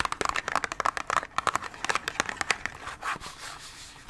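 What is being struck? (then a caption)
Small cardboard box. Long nails tap and scratch the front face of a small cardboard Band-Aid box. A quick, uneven run of crisp, dry taps comes first, each with a hollow click around 1–2 kHz and a bright edge. These give way to softer, continuous scratching that fades toward the end.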